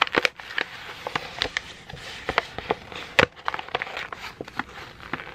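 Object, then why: Sheet of printer paper. A wrinkled white sheet of printer paper is gathered and crumpled in both hands, with the fingertips squeezing it. The result is a steady run of sharp, dry crackles and snaps over a soft rustle, bright and quick, each dying away almost instantly.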